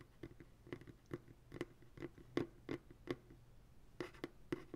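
Fingertips and nails tap on the bottom of an empty white plastic ice cream pail resting on a lap. The taps land in an uneven series of quick, hollow knocks, each with a low, resonant body. Each one dies away almost at once, with faint scratchy clicks between them.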